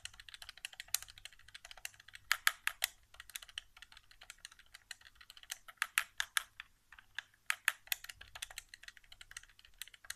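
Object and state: Plastic game controller.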